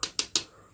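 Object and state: Hard, good-quality plastic power strip housing.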